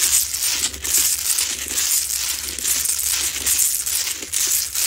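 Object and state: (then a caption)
Salt rock lamp scratched with nails. Long nails scratch and tap aggressively along the sides of a lit, medium-sized Himalayan salt rock lamp, a solid, rough salt crystal. A steady stream of bright, dry, crackling rasps swells and eases in uneven bursts, with short, sharp clicks as the nails catch the coarse surface. A faint low hum sits underneath.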